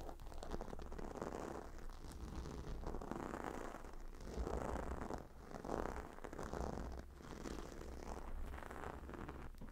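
Long nails scratch across the stone tiles and leather edge of a cylindrical gemstone hot stone pillow. A steady, gritty raspy scratching rises and falls in slow waves over a constant low hum, with almost no bright top end.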